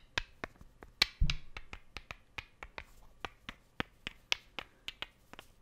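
Two small solid wooden cubes are tapped and clicked against each other about 18 times in a steady, unhurried rhythm. Each contact is a sharp, bright click that dies away almost instantly, with one heavier, duller knock near the start.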